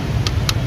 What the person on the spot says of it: Gõ thử. Nó bằng nhựa nha mọi người